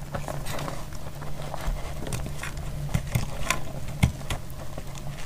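A metal utility blade slices through a solid, dry green-yellow bar of soap, giving a steady, dense crackling patter. A few louder, sharper cracks stand out near the end. The sound is mostly low and thick, with a faint low hum underneath and short, dry snaps that barely ring.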